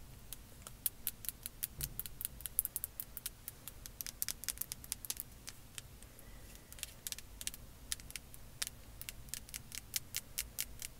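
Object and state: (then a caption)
Plastic concealer tube, hollow. Long acrylic nails tap and scratch along a slim, hollow rose-gold plastic concealer tube with a dark blue cap. The result is a quiet, rapid series of sharp, bright clicks that stop instantly, with soft scratching between them over a faint low rumble.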